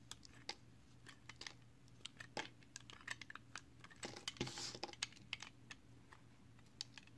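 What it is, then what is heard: Soap bar being carved with a blade. A utility knife blade carves and scrapes a small, solid piece of multicolored recycled soap held in the fingers. About thirty quiet, crisp, bright clicks and short scrapes land in an irregular run over a faint steady low hum. Each cut dies away almost instantly.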